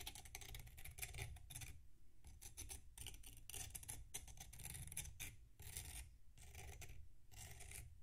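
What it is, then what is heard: Packed sand block being scraped. A metal knife scrapes the surface of a solid packed sand block resting on a plate. Short bursts of gritty, raspy scraping come one after another, with a bright hiss over a dull, low body and brief quiet gaps between strokes.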